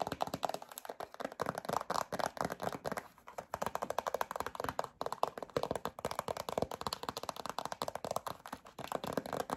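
Long acrylic nails tap rapidly on a yellow plastic hand cream tube with a black cap, making a quick, continuous run of short, dry clicks with a hollow midrange tone. The tapping pauses briefly near 3 and 5 seconds, then resumes at the same brisk pace.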